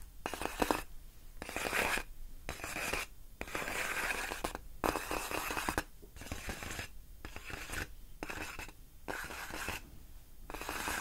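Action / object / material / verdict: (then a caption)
scrape / inflated plastic air-column packaging wrap / plastic / none. Long acrylic nails scratch and rub along the hollow, air-filled tubes of a large, clear, inflated plastic air-column cushion wrap lying on a fluffy rug. Bright, squeaky scratching comes in repeated strokes separated by brief quiet pauses.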